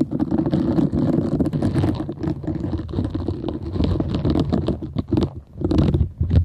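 Long nails scratch downward across the nubs of a half-round green silicone bristle pad scrubber. The result is a dense, continuous rumbling scrape made of rapid, tightly packed ticks, heavy in the low end and lacking bright highs. It dips briefly near the end before a final burst of scratching.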